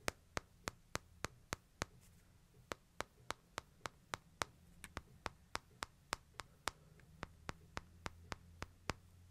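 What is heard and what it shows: Fingertips and nails tap the glass screen and frame edges of a small smartphone held upright. About 29 short, sharp, bright clicks come in a steady series, with brief pauses near 2 and 7 seconds. Each click dies away at once over a faint low hum.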